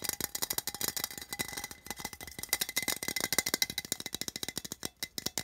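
Fingernails rapidly tap and scratch the side of a small, hollow, printed metal tin held in the hand. The quick, irregular clicks are bright and dry with a faint metallic ring around 2 kHz, and there is almost no low end.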